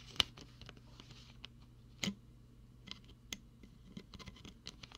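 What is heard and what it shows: Fingertips tap and scratch the white plastic screw cap of a clear plastic water bottle that holds some water. Quiet, bright scratching and scattered sharp, dry taps are heard, with two louder clicks standing out. Each tap dies away almost instantly over a faint low hum.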